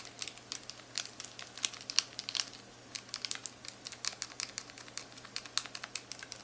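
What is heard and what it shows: Several long acrylic nails quickly tap, click and scratch across the buttons of a black plastic graphing calculator keypad. The result is a fast, irregular run of short, dry, bright clicks and crinkly scrapes over a quiet background.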